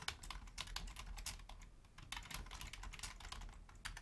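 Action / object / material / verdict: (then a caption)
tap / plastic computer keyboard / plastic / none. Long fingernails type on a full-size black plastic Logitech membrane keyboard with a hollow housing, one hand reaching over to the numeric keypad. A rapid, uneven stream of short, bright clicky key taps plays over a steady low rumble, easing briefly near the middle before picking back up.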